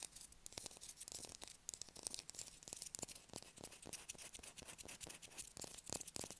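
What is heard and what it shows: Long acrylic nails scratch a solid blue bar of soap held in the hand. The result is quiet, bright, crisp scratching in dense, rapid strokes, each stopping dead with no ring.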